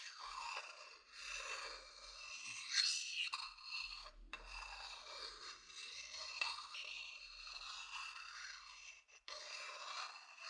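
A thin wooden stick scratches and rubs across the outer base of a medium hollow wooden bowl. The result is a continuous, quiet, dry rasp that is bright and high-pitched, with faint woody scraping textures. It briefly drops out near the end.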